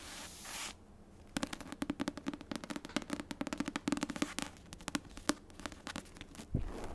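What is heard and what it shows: Long nails tap rapidly on the cardstock front cover and page edges of a paperback copy of *The Secret History*, making a dense run of short, dry, clicky taps with a faint hollow tone. A brief burst of bright hiss comes first, and a soft low thump sounds near the end.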